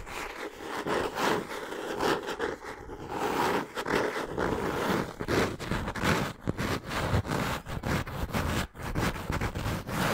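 Long nails scratch and tap the brown cork-textured cover of a solid hardcover notebook with white page edges. The result is a dense, continuous rasping scratch broken by quick, dry taps, mostly in the low and middle range with little brightness.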